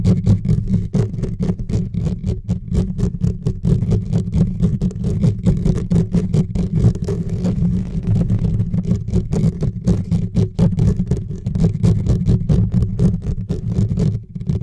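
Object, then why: Metal mesh microphone grille. Fingertips and short nails on both hands scratch fast across the bare metal mesh grille on top of a large silver USB microphone with no windscreen. The result is a dense, continuous stream of rapid scratches, heavy with low rumbling boom and topped by brief, crisp bright clicks.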